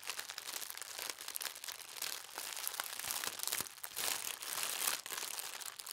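Hands with long red nails press and rub a folded stack of thin white tissue paper printed with gold stars on a tablecloth. The result is a steady, dense, bright crinkling and rustling with no low end, swelling and easing as the paper is worked.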